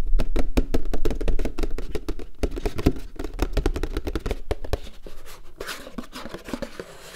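Fingertips and nails tap and drum on the flat bottom and side wall of a large, empty, hollow paperboard popcorn bucket held upside down. The result is a fast, irregular run of short, dull, boomy knocks with a deep low thud and almost no ring. The drumming gradually softens toward the end, where lighter, brighter scratchy taps take over.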